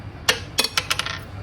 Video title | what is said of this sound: 🌶 SPICY NOODLES 🍝 MUKBANG & VLOG - Exposing Crazy Facts *Funny* | It's very strong. It sounds like stone. Maybe it's like a pebble.